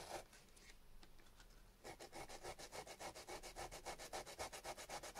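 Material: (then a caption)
Potato. A small solid chunk of raw peeled potato, held in the fingertips, is rubbed back and forth on sandpaper, leaving a wet starchy residue. A quieter, scattered scraping in the first two seconds gives way to steady, rhythmic gritty strokes at nearly four per second, each a bright, dry rasp with a soft midrange body.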